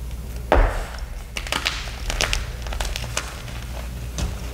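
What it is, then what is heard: Gym chalk block being crushed. Small solid white gym chalk (magnesium carbonate) blocks dusted with black iron oxide powder are squeezed and crushed between bare fingers and palms, held in both hands over a pile of crushed chalk. Dry, brittle cracks and crunches snap out over a low, steady rumble, with bright, crumbly crackling as the blocks break apart.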